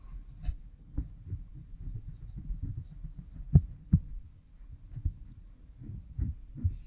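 A bamboo stick scratches along the groove behind an oiled pink silicone ear model fitted with a microphone. Muffled, low, irregular rubbing thumps and scrapes are heard close up, with a few sharper louder strokes in the middle and almost nothing bright.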